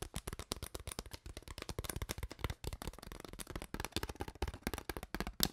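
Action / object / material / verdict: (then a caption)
scrape / ridged plastic water bottle / plastic / none. An empty, hollow, clear ridged plastic water bottle with a white cap and no label is squeezed and crinkled with long nails and fingers. It makes a rapid, continuous run of dozens of short, dry crackles and taps with very little ring. Each one is a broad, bright burst with a low thump underneath.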